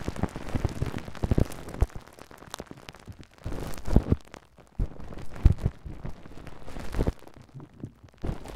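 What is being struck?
Plastic cling film over a microphone.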